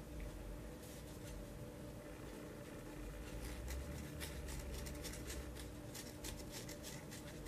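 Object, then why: Paperboard ice cream carton. Fingertips and nails tap and scratch the printed side of a small, round "Vanilla Bean" paperboard ice cream pint with a white lid, held in one hand, then move to the lid of the sealed carton. Quiet, bright clicks and dry scratching patter irregularly over a steady low hum. The sound stays soft throughout.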